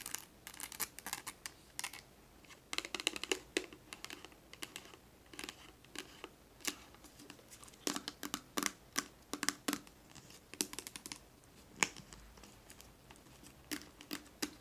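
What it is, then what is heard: Plastic oil bottle tapped and scratched with nails. Long nails tap and scratch a small clear plastic Johnson's baby oil bottle with a white cap, filled with oil and held in the hand as it is tilted. Quiet, sharp, bright clicks and scratchy rasps come in irregular bursts, each dying away almost instantly with almost no low end.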